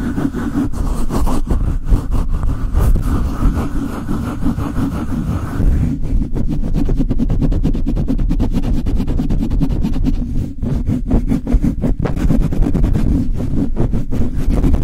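Fingertips and long light-blue nails quickly rub and scratch the bare, hollow metal mesh grille of a black Blue Yeti USB microphone. The result is a dense, continuous low rumble of rapid scraping and thumping strokes, with nearly all the energy down low and little brightness. About six seconds in, the rubbing turns choppier, adding crisp crackling bursts.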